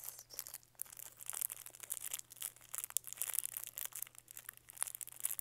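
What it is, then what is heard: Plastic candy wrapper crinkling. Fingertips squeeze and rub the thin green printed plastic film wrapped around a small lollipop with a white stick, held in both hands. The result is a quiet, continuous stream of sharp, bright crinkling and crackling bursts over a faint steady low hum.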